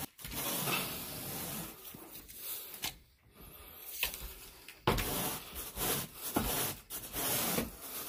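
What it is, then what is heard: Carpet pile being raked. A carpet groomer rake with a long wooden handle and a teal plastic head is dragged in raking strokes through wall-to-wall green pile carpet on a bedroom floor. It makes a broad, hissy scraping rub with bright high-end fizz. The strokes come in uneven bursts separated by short pauses.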